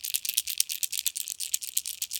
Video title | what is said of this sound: MirrOlure Mirrodine Disappointment | let's give it a shake and see what happens all right it rattles right that's fantastic